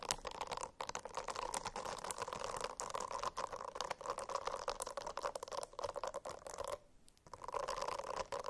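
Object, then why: Silicone-covered notebook. A silicone-covered notebook is scratched with fingernails, producing a dense, continuous run of quick scratching strokes with a steady mid-range hiss and bright edges. The scratching pauses briefly near seven seconds, then resumes.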